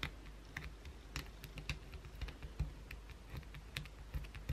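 Long blue acrylic nails aggressively scratch the edges of a solid, partly carved white bar of soap held in the hand, leaving visible shavings. The result is a quiet stream of quick, dry scratches and crisp ticks with bright edges over a soft low rumble, each sound stopping almost instantly.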